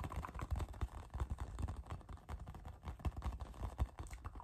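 A hand-sized, hollow, inflated pink rubber playground ball is held in one hand and tapped with the fingertips and nails of the other. It produces a rapid, irregular run of soft, dull, low thumps with faint clicks. Each tap dies away almost instantly without ringing.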